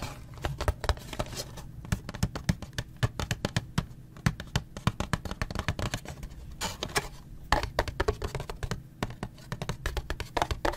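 Fingertips and nails tap and scratch a small printed cardboard Gulf Wax box held in the hand, apparently holding wax blocks. Dozens of quick, dry taps come in irregular bursts, each a dull, low, hollow knock with a short scratchy edge that dies away at once. Brief rasping scrapes fall between them over a faint steady low hum.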